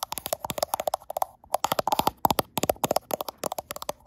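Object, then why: Glass-backed smartphone. Long nails tap rapidly on the frosted glass back of a handheld gold iPhone, which is also doing the recording. About 26 short, dry clicks come in quick bursts, separated by brief pauses. Each click has a mid-range knock around 860 Hz, a bright crisp edge and almost no ring.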